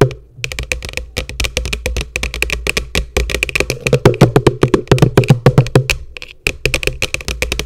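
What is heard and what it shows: Long nails tap rapidly on the base of an upside-down, hollow yellow plastic bucket. Each tap gives a bright click over a short, hollow low thump, with dozens of quick, uneven taps. The taps come in loose bursts, with a brief pause just before the end.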